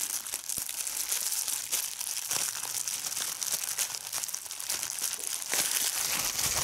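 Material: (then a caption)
Plastic. Fingers squeeze a large sheet of clear plastic bubble wrap, sometimes held close up, popping its bubbles. The result is a steady, bright crinkling and crackling, mostly high-pitched with almost no low end, broken by sharp, quick pops that die away at once.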